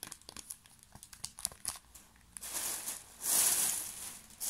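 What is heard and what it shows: A small, full pocket tissue pack in a thin plastic film wrapper is held and crinkled with the fingertips. Light, scattered crackles come first, then a denser, brighter rustle that swells loudest near the end. The sound is sharp and high with almost no low end.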